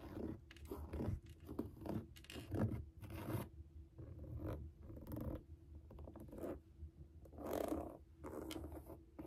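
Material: Suede.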